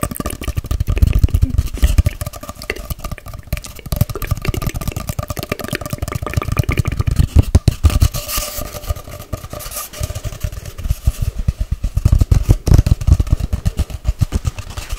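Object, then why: Long cardboard tube. A long hollow cardboard tube with its open end showing is tapped fast with long nails close to the mic, then held upright and tapped along its length. The rapid, dense taps give a deep, hollow, boomy thump around 105 Hz, with faint steady ringing tones above. Each tap dies away almost at once.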